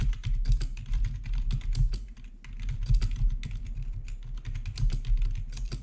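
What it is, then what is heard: Plastic membrane keyboard being typed on. Fingertips type quickly on the black plastic backlit keys of a plastic RGB membrane keyboard with a hollow body. The result is a steady stream of soft, overlapping taps: deep, hollow thumps under brief bright clicks that die away almost instantly.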